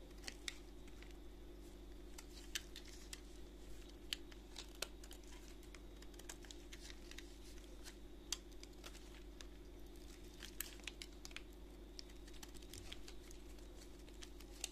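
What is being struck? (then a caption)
Solid bar of soap shaved with a knife blade. A utility knife blade shaves the edges of a solid white soap bar held in a gloved hand, making quiet, crisp, bright scraping ticks and sharp clicks that cut off almost instantly. A steady low hum runs underneath the whole time.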